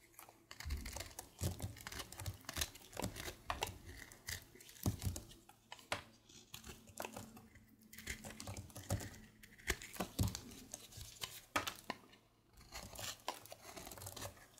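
A red patterned blade shaves strips off a solid light-blue bar of soap held in one hand. Rapid, crisp scraping strokes crackle and rasp in quick uneven bursts, each short and dry with bright edges. A steady low hum sits underneath.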